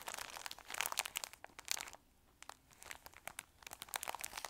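A square pack of pumpkin-print paper napkins, about 15 cm across, in a clear plastic cellophane wrapper is held in both hands and crinkled and squeezed with the fingertips. Bright, crackly crinkles come in quick bursts, pause briefly near the middle, then resume with sharp snaps and rustles.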